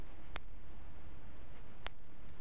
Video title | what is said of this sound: Fake silver & gold coins: 5 easy ways to spot them. | is also a silver coin so slightly bigger thicker but you see how it sounds like a silver bell